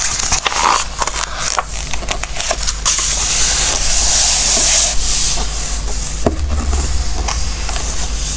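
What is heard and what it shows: Fingertips rub and stroke the same coated pages of an open glossy-paper Christmas book resting on a wooden table. A continuous, bright papery rustle and soft crackle plays over a steady low hum, brightest in the middle of the stretch.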